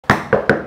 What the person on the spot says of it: আপনার নক করলে নকিং আওয়াজটাও আপনার কাঠের মতনই আসবে